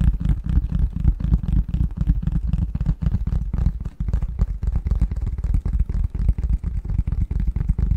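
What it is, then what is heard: Cardboard box lid tapped and scratched. Fingernails scratch and tap the flat face of a printed cardboard box lid with a Christmas pattern, held upright. The taps come in a rapid, uneven stream of soft, deep thumps with very little high end, each dying away almost at once.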